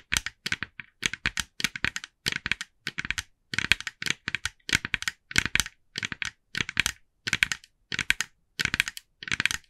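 Long nails of both hands tap rapidly on the face of a hand-sized, hollow, glossy orange plastic jack-o'-lantern decoration. The result is quick, bright, clicky bursts of tapping centered around 2.5 kHz, grouped in short repeated clusters with almost no ring between them.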